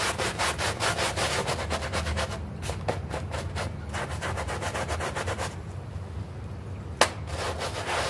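A hand brush scrubs a small, foamy green synthetic turf doormat while the other hand holds its edge. Rapid, rhythmic, bristly strokes rasp back and forth over a low rumble, easing slightly midway. A single sharp tap breaks in near the end.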